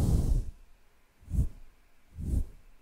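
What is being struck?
Nothing is struck.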